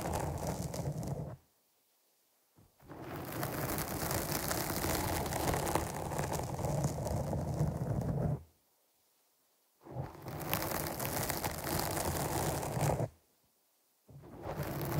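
Long nails scratch across the top of a black foam windscreen fitted on a microphone, producing a dense, continuous rustling scrape with a heavy low rumble and a bright hiss. The scratching comes in long stretches broken by three short silent pauses.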